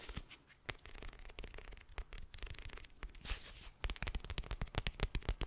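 Fingernails scratch across the bumpy surface of a flat teal plastic gel ice pack filled with gel beads, held up in the air. Quick, irregular crackly scratches and soft rustling build into a denser run of sharp, crisp clicks toward the end.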